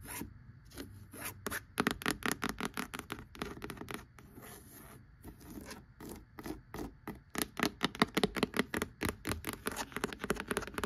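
Long acrylic nails tap and scratch across the worn tan cloth front cover and embossed lettering of a solid, closed vintage hardcover copy of "An Old Fashioned Girl" lying flat on a wooden table. Dozens of quick, dry taps mix with raspy, bright scratching strokes that die away almost instantly, growing louder and denser toward the end.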